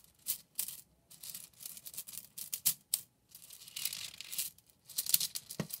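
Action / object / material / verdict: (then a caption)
scrape / plastic drinking straws / plastic / none. A hand-held bundle of pink and purple hollow plastic drinking straws is rolled and squeezed between fingers with long nails, making scratching and clicking sounds. Quiet, bright, crunchy crackles come in short bursts and longer rustling stretches with brief silences between them, with almost no low end.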